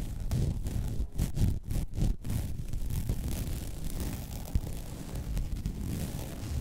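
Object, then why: Woven vinyl placemat. Long red nails scratch across the weave of a flat white woven vinyl mesh placemat, producing a steady rough scratching and rustling. The sound is heavy in low, thumpy texture, with several brief gaps between about 1 and 2.2 seconds and a single sharper tick near 4.5 seconds.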